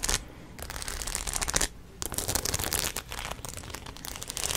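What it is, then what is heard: Studded denim cap. A baseball cap covered in rows of metal studs or rhinestones, with a denim brim, is held in the hands and scratched with long nails. Dense, bright rasping and clicking bursts come in uneven runs, with short quiet pauses near 0.6 and 1.7 seconds.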